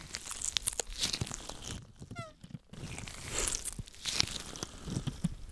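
White latex gloves on both hands are rubbed and squeezed together close to the microphone, making dense crinkling and crunching rubs with bright, crackly detail. Midway the rubbing drops briefly to near silence, broken by a short squeaky tone, then the crinkling resumes until the end.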